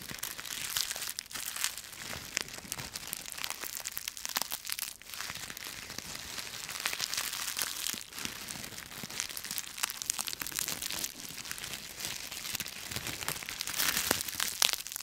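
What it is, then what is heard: Dry leaves being crushed. A bundle of dry brown and yellow autumn leaves is crumpled and crushed with the fingertips and fists of both hands. A dense, continuous, bright crackling and crunching runs throughout, with sharper snaps poking out and almost no low end.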